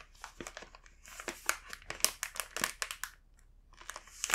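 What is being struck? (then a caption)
Plastic snack bag. A full green plastic Rumando snack bag is held and rubbed with fingertips, giving a quiet, bright crinkling made of many short, crisp rustles. The rustles come in bursts with brief pauses between them and have almost no low end.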